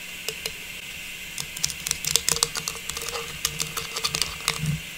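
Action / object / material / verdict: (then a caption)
tap / small metallized plastic star ornament / plastic / none. A small, hollow, faceted silver metallized plastic star tree topper is turned in both hands and tapped with long pink nails. About twenty quick, dry, bright clicks come in irregular bursts over a steady high hiss, each dying away almost instantly.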